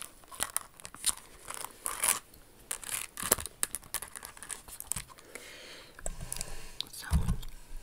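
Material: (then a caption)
Crystal. A silver rhinestone pump shoe with a crystal toe ornament and a metallic silver insole is tapped and scratched by long acrylic nails. Quick, bright clicks on the crystals mix with rasping, crinkly scratches on the insole in a steady, irregular stream.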